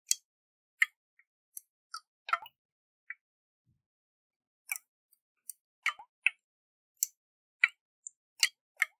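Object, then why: Glass jar with water and metal lid. Fingernails tap a round, hollow glass jar with a metal lid and water inside while it is tilted in the hands. Short, sharp, bright clicks and ticks come at irregular intervals, with quiet gaps between them. Each tap dies away almost instantly, with no low end.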